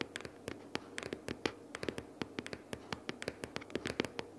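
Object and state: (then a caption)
Cardboard sticky-notes box. Long purple nails tap and scratch quickly on the top cover of a closed, book-sized pink cardboard sticky-notes box lying flat. A rapid, uneven series of dry, short taps with bright scratchy clicks rises over a soft papery hiss, each hit dying away almost at once.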